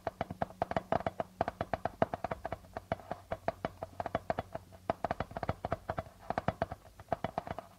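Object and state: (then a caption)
Darbuka drum with plastic head. Fingertips and nails tap and scratch quickly on the plastic membrane of a hollow darbuka drum. The result is a rapid, uneven stream of short, dry taps with a light ringing tone near 660 Hz that dies away almost at once. Some hits land louder than others.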